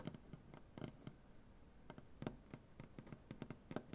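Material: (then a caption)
Maple wood. Painted fingernail tips of both hands tap on a large solid maple butcher-block tabletop in quick, irregular bursts. Each tap is short and dry with a woody low thump and a brief bright click, dying away almost at once over a faint steady hiss.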